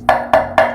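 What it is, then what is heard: Bathroom tile tapped with a rubber mallet. A rubber mallet taps a ceramic bathroom tile in a new apartment three times, checking for hollow spots where poorly applied adhesive or cement underneath could let the tile crack. Each tap gives a short, dry, woody knock centered around 700 Hz that fades quickly.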